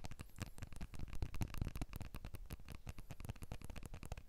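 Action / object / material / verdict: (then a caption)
tap / smartphone, glass back and aluminium frame / glass / none. Short nails and fingertips tap quickly across the glass back panel and aluminium-frame edges of a blue iPhone 12 held upright, Apple logo facing out. The result is a rapid, uneven patter of dull, soft clicks with a low, thumpy body and almost no ring after each tap.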